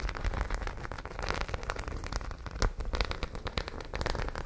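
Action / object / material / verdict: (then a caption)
scrape / studded fabric pouch / fabric / none. Long nails scratch rapidly over the raised studs of a white studded zippered fabric pouch held in front of the face. The result is a dense, continuous crackle of quick, dry taps and scrapes with bright edges, much like rain pattering on a surface.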